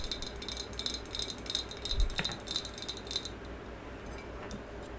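Long yellow acrylic nails tap and scratch a medium maroon, glossy, hollow ceramic vase, held horizontally and then upright. Quick, light, bright clicks and scratchy ticks ring off the glaze over a steady low hum, with one firmer knock around the middle.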